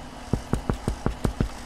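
Another side of a baked bread loaf is knocked seven times, giving short, low, hollow thuds with almost no ring over a faint steady background hum. The hollow sound shows the loaf is baked through and done.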